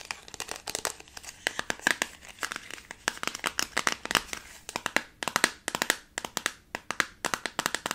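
A small, round, translucent plastic tub holding pink modeling dough is held in the hand while fingertips and long nails squeeze, scratch and tap its thin plastic walls and rim. The result is a rapid, uneven run of crinkly, cracking clicks. Each click is sharp and bright and dies out almost at once, with almost no low end.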